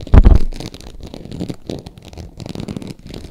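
Long acrylic nails scratch the ridged surface of a green glossy croc-embossed faux leather purse tilted in the hand. Two loud, dull, low scrapes at the start give way to quieter, steady, rasping scratching that continues to the end.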